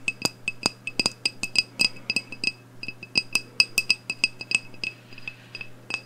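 Long acrylic nails tap and clink on the glass side of a medium black glass candle jar filled with wax and holding a lit wick. About 27 quick, irregular clicks sound with a bright glassy ring near 2.6 kHz and higher overtones. Each dies away almost at once over a faint steady low hum.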